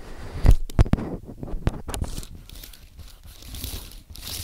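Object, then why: Aluminium and plastic computer keyboard. Fingertips type on a compact white aluminium and plastic Apple keyboard, giving a quick, irregular patter of soft, low key taps. A few firmer presses stand out near the start before the typing settles into quieter, dull clicks with a faint hiss.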